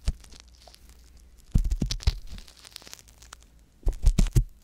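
A wooden ear pick scratches inside the ear canal of a soft silicone ear mounted on a white box binaural microphone. The sound is close and low-heavy, made of dry, crinkly scraping and rustling bursts. Quiet stretches separate a denser run in the middle from another at the end.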